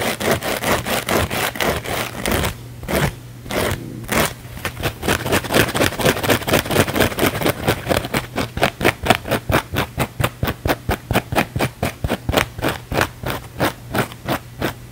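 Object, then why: Thin foam sponge. A thin, flexible, palm-sized blue foam sponge is held in one hand and scratched fast and aggressively with the fingertips and nails of the other hand. Dozens of rapid, dry, scratchy bursts repeat in a loose rhythm, with a brief stutter of gaps early on. The strokes then become sharper and more evenly spaced toward the end over a faint steady low hum.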